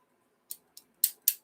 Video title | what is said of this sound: Pastor bob and Levi mini auction and Coin info stuff lol | it sounds dead like lead right it doesn't really have a sound